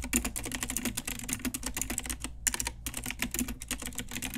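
Fast typing on a pink Ajazz retro typewriter-style plastic mechanical keyboard with round plastic keycaps, struck with long nails and fingertips. A dense run of bright, sharp clicks and clacks with a low thock under each press continues with a brief pause midway.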